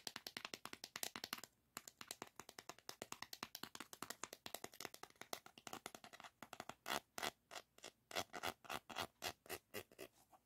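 A small, shallow, hollow green plastic diamond painting tray with a ridged bottom, empty or nearly empty, is held in one palm and handled and rubbed with fingertips above a diamond painting canvas. Dozens of quick, bright scratchy strokes follow in a fast, uneven rhythm, with a brief pause near the start. In the last few seconds the strokes grow louder and more spaced apart.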